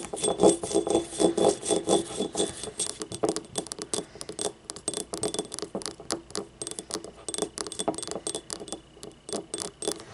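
Long painted nails tap and scratch the labelled base and ribbed side of a small, yellow, glazed ceramic ribbed ramekin paint cup that lies empty and hollow on its side. The result is a quick, uneven run of short, bright clicks and dull clinks, roughly two per second, each dying away almost at once, with thin scratchy rasps between them. It starts busier and louder and thins into more spaced-out taps.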